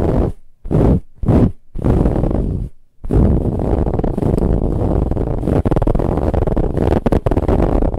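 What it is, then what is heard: Fabric pillow being scratched. Long nails scratch aggressively at a soft brown ribbed fabric pillow. Four short, separate rasping bursts give way to a steady scratching that continues to the end. The sound is dense, low and muffled, with little bright content.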